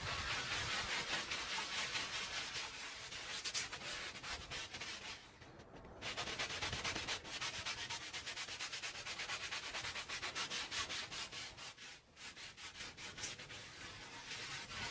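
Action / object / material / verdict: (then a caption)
scrape / woven fabric rug scrubbed with a plastic hand brush / fabric / none. A small oval red patterned woven fabric rug, soapy and wet on the floor, is scrubbed by hand with a small green plastic hand brush. Quick back-and-forth strokes make a steady, bright, bristly rasping with a wet hiss. There are brief quieter gaps near the 5.5-second and 12-second marks.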